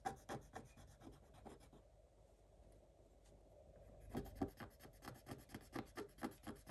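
A thin wooden stylus rubs and scratches the coating off a black coated scratch-art paper page. Quick, dry scratching strokes come in a rapid uneven rhythm, fade to a softer continuous rub in the middle, then return as brisk, slightly louder strokes.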